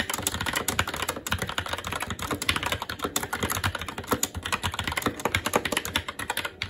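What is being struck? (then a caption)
Mechanical keyboard with plastic keycaps on a metal plate. Fingertips of both hands type continuously and fast on a SteelSeries Apex 7 TKL mechanical keyboard with Red linear switches and plastic keycaps on a metal top plate. The result is a dense, steady stream of short, crisp clacks with bright plastic tops and a light low thud beneath, each dying away almost instantly.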